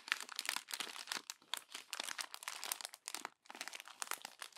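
A hand crumples and presses the pages of a glossy paper magazine. Dense, bright crinkling and crackling comes in quick bursts, with a brief pause just past three seconds before the crinkling resumes.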